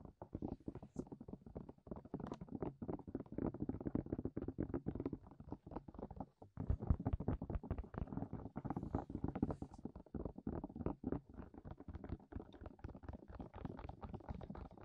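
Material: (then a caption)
Silicone. Fingertips of both hands tap rapidly over the openings of the hollow, soft silicone ears on a medium-sized white binaural dummy-head microphone with a black plastic body. The result is a dense, continuous stream of muffled, low, boomy thumps with very short decay, pausing briefly around the middle before resuming.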